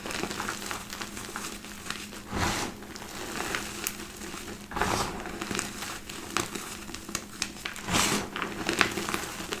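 Both hands scoop up crushed white gym chalk powder from a heap in a black bowl, squeezing it and rubbing it between palms and fingers. Soft, dry crunching and crinkling with a bright, hissy grit runs throughout, swelling into louder rubbing bursts every few seconds.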